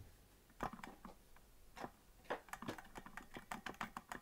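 Fingertips of both hands tap the plastic keys of a hollow green plastic melodica that is not being blown, making short, dry clicks. A few scattered taps give way to a quicker, denser run of clicking, each tap a brief midrange knock with almost no ring.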